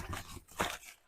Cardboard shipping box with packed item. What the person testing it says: I hear the handles clunking, so I'm going to put bubble wrap between them